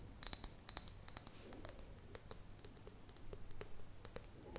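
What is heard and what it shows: An empty, clear glass mason jar is held in the hands and tapped and scratched with long fingernails along its side and near the lid. It gives a rapid run of sharp, bright clicks with brief high ringing tones, and the ringing pitch climbs slightly higher midway through. A soft, steady low hum sits underneath.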